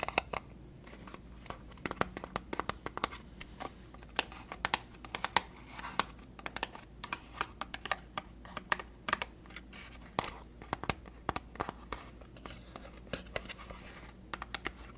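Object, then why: Small cardboard box. A small, hollow white cardboard moisturizer box is held in both hands, turned, tapped and scratched with fingernails. Quick, dry, bright taps and clicks come in an irregular stream over soft scratching and crinkling, each hit dying away almost instantly over a faint steady low hum.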